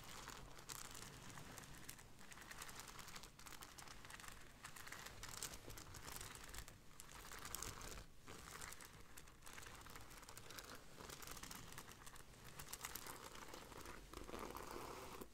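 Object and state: Beaded fabric bag.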